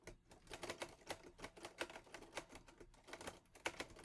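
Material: Metal.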